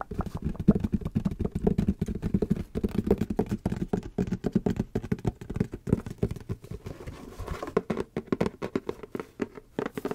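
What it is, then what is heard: Cardboard shoe box. Fingertips and nails rapidly tap and scratch a hollow, medium-sized white printed cardboard shoe box (Puma x Haribo) with a gummy bear pattern, held up in one hand. The result is a dense, continuous run of short, dull, muffled knocks and light scrapes, mostly low-pitched with almost no high-frequency content and very little ring after each tap.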